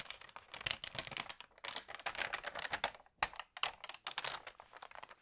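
Long nails and fingertips flip and smooth the glossy pages of an Allerhande food magazine on a table, crinkling them. Quick, bright, crisp crackles and taps come in dense bursts with brief pauses, with almost no low end.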